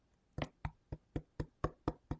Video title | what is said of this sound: Gus the Ghost House finished | it almost sounds like wood. So it's very sturdy,